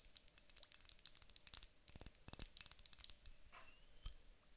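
A large clear glass hourglass filled with water gel beads is tapped with long nails, then tilted and turned. The result is a quick run of bright, sharp clicks and taps, followed by a softer shifting rustle as the beads slide inside the glass.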